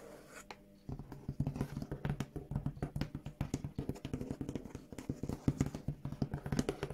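Long acrylic nails tap and scratch a large, hollow brown corrugated cardboard shipping box printed with "Revolution." After a quiet first second, a rapid run of short, dull, low hollow knocks follows, with light scratchy rasps mixed in. Each tap dies away almost instantly.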